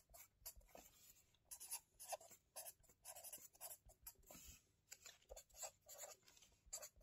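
A hand writes lines of text with a marker pen in an open, wire-bound, lined paper notebook lying on a table, rubbing and scratching the tip over the paper. The quiet, bright, dry scratching comes in short, uneven bursts of strokes with brief pauses between them, carrying a slight mid-range squeak and almost no low end.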